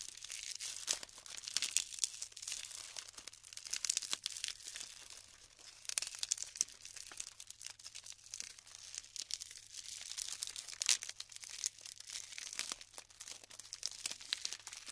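Clumps of colorful glued polystyrene foam beads are held in both hands and crumbled and rubbed between fingers with long pink nails, and loose beads fall back onto the pile. A continuous stream of dense, bright crackling, crinkling and snapping fills the clip, with almost no low end and many short, sharp peaks.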